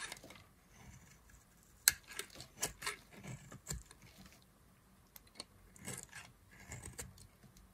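A solid pink bar of dry soap, held in the hand, is carved into thin slices with a knife blade. Short, crisp, bright scraping and snapping cuts come in uneven bursts, with quiet pauses between them.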